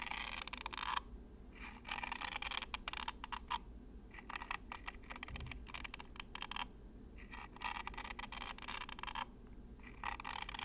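Long matte nails flick and scratch the row of thin green plastic comb teeth on top of a small hollow plastic toy held close. Quick, bright, dry clicking and scratchy ticks come in dense bursts separated by short pauses, over a faint steady low hum.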